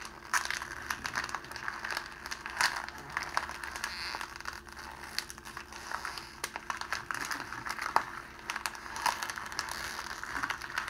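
A sheet of clear cellophane wrapping plastic, crumpled into a small wad, is squeezed and twisted between the fingertips of both hands. It gives a steady stream of dense, bright crinkles and sharp crackles with almost no low end.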